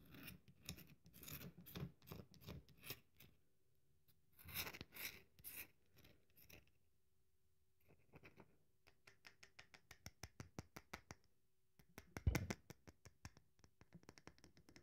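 A solid, dry bar of soap is held in the hand while long nails scratch and crumble its edge. Bursts of crisp, bright scratching and crumbling come in clusters with quiet gaps between them. These give way to a rapid run of sharp, dry ticks and one louder crunch near the end.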